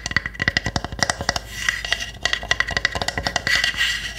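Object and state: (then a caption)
Small wooden box-like house tapped and scratched with nails. Long nails tap and scratch the roof and sides of a small, hollow pine-wood hamster house. Quick, dry, sharp clicks with a hollow woody tone around 2 kHz come in fast bursts, broken by brief stretches of raspy scratching with a bright edge. Each tap dies away almost instantly.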